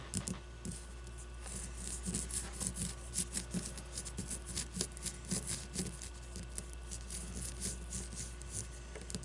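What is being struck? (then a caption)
Leather baseball. A solid leather baseball is held and turned while long blue-painted nails scratch and tap its leather and stitching. Quick, dry taps and bright scratchy strokes come in an uneven stream over a steady low hum, each one dying away almost at once.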